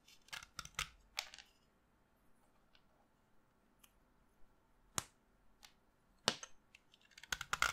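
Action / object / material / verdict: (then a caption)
scrape / chalk stick / chalk / none. A short, solid pastel green chalk piece held in the fingertips is carved with a knife blade, scraping off crumbs that fall onto a dust pile. Quiet, irregular bursts of dry, bright scraping and crisp cuts stand out against near silence, each fading almost immediately.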